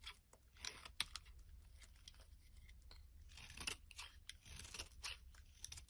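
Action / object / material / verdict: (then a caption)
scrape / soap bar / soap / none. A metal blade scrapes and carves a solid, hand-sized, bright green soap bar into long shavings. Quiet, crisp, bright scraping and crunching strokes come in irregular bursts with a few sharper snaps, over a faint low hum.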